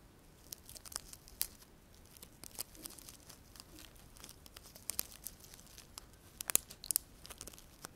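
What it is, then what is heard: Sola wood flower. A dry sola wood flower with layered petals is held close and scratched and tapped with fingernails. Quiet, bright, dry crackling and rustling scratches are punctuated by many short, sharp ticks that stop instantly, with almost no low end.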